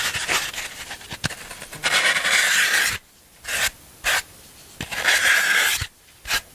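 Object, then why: Floral foam block. A black scraping tool rubs and rasps across the surface of a solid green floral foam block held in the hands. It produces bright, crunchy, hissing scrapes in longer strokes and short bursts, separated by brief quiet pauses.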